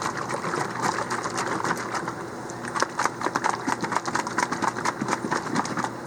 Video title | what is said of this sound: FloraNova Nute Mixer | Hear that clinking in there? That's that agitator.